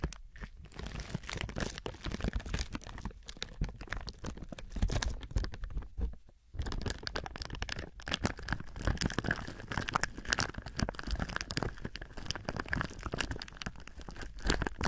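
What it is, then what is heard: Crinkling plastic film. Fingertips and palms press and rub thin clear plastic film wrapped around a binaural microphone, making a dense, steady crinkling and crunching with a deep, muffled low end and sharp, bright crackles. The sound stays the same throughout, with only a brief quiet dip around six seconds.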